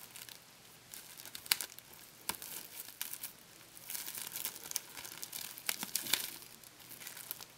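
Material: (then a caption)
Plastic. A thin, flexible wad of sticky, hollow clear plastic packing tape is held in both hands and stretched, crinkled and peeled apart by fingertips with painted nails. The result is quiet, bright crinkling and crackling with sharp tearing snaps scattered throughout, and almost no low end.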